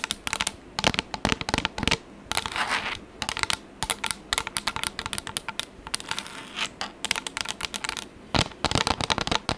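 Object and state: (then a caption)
Plastic tablet case. A pink textured plastic tablet case, held in both hands, is scratched and tapped with long acrylic nails. Dozens of quick, bright clicks and taps come in rapid bursts, broken up by short stretches of raspy scratching. Each hit is short and dry with almost no ring.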